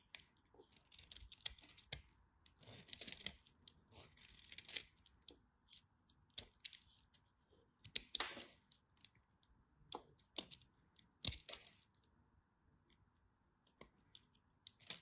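A knife cuts into a partly carved, dry cream-colored bar of soap, breaking off crisp slivers. The result is a run of sharp, bright crackles and snaps with short scraping cuts between them, heard against a steady faint hiss.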